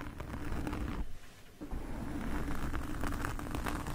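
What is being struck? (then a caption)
Foam microphone windscreen. Two metal forks, held in both hands, scratch across the surface of a black foam microphone windscreen. The result is a dense, low, muffled rustling and scraping that dips briefly quieter in the middle before continuing steadily to the end.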